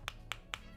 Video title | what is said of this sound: TWS Dibawah 100rb suara halus! Review TWS Olike ej1 Bluetooth 5.3 bass mantap | Lumayan padat di harga 100.000.